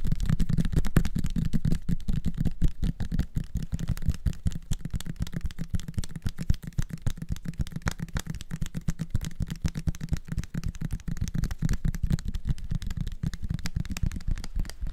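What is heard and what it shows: A small, clear, labeled plastic syrup bottle holding dark liquid, with a red plastic flip-top cap, is held in both hands and tapped with fingertips and nails. The taps come rapidly and irregularly throughout, each short and dull with a heavy low-frequency thud and almost no bright content.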